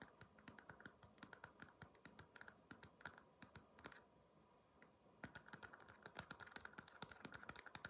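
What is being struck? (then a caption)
Upside-down paper cup tapped with fingertips. A small, empty red paper cup held upside down is tapped rapidly with the fingertips, making quick, light, dry clicking taps with a bright edge and almost no ring. The tapping runs in a fast, uneven stream, pauses for about a second near the middle, then resumes just as busily.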